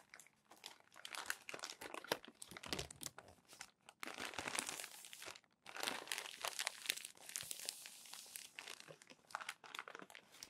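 Crumpled glossy magazine pages are smoothed flat by palms and fingertips and turned, giving bright, dense crinkling and crunching rustles. Brief pauses near 4 and 5.5 seconds separate the longer bursts of handling.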